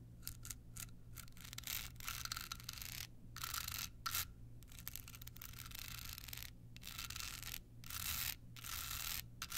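Long nails rub and scratch a small, hollow, rhinestone-covered card holder. The result is bright, gritty scraping in bursts broken by short silent gaps, over a steady low hum.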